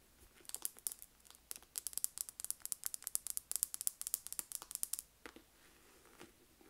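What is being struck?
Leather envelope purse.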